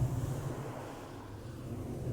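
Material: Nothing is struck.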